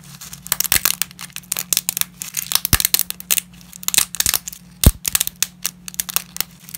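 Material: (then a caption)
Dry pasta. Gloved hands break and crush small pieces of dry, uncooked lasagna pasta over a dense layer of fragments. A rapid, uneven stream of sharp, bright cracks and crunches rises and falls, with one louder snap near the end, over a faint steady low hum.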